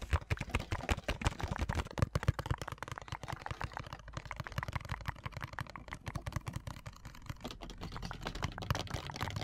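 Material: Plastic.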